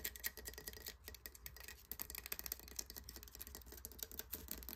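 Fingernails scratch and pick along the textured edges and crust of a large, hollow, encrusted conch shell. The result is a quiet, steady stream of crisp, dry scratches and short ticking clicks, mostly bright and high-pitched, over a faint low hum.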